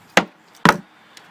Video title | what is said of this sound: Locust, Does it ever rot? | It sounds like it's hollow, but it's not. You can hear how solid it is still.